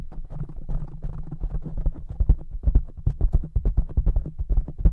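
Fingertips of both hands rapidly tap a soft black foam windscreen covering a large silver microphone. The result is a dense, fast patter of muffled, boomy thumps, almost entirely deep low-end with no high or bright content. The taps start as a blurred rumble and grow into sharper, louder distinct thuds toward the end.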